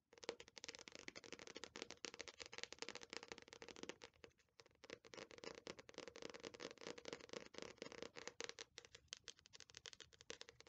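An Attack on Titan paperback manga volume is held upright while long nails tap and scratch its glossy paper cover. A quiet, dense stream of crisp clicks and dry scratches runs throughout, bright and rattly with almost no low end. It pauses briefly midway before continuing.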